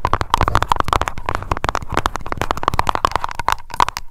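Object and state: Glass candle jar.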